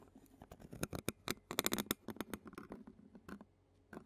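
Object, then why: Metal mesh microphone grille and plastic spoon. A clear plastic spoon scratches the black metal mesh grille of a handheld Zoom recorder while a long-nailed hand rests on the recorder's body. Close, quiet bursts of dry scratching and crackling rasp across the mesh in an irregular patter, bright and broadband with a faint low rumble underneath. The clip ends with a short pause before a final brief scrape.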